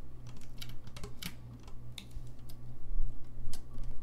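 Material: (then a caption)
Brass. Fingertips tap and click the keys and pads of a hollow, gold-lacquered brass saxophone, making an irregular run of short, bright clicks. The clicks grow louder toward the end over a steady low hum.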